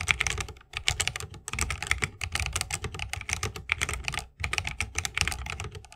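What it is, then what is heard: Mechanical keyboard, plastic keycaps in wooden case. Fingertips of both hands type fast on an RGB-lit 60% mechanical keyboard with plastic keycaps on tactile Holy Panda switches, set in a solid bamboo wooden case and resting on a wrist rest. A dense, rapid stream of short, bright clacks rides over a low, rounded thock from each keystroke, broken by brief pauses.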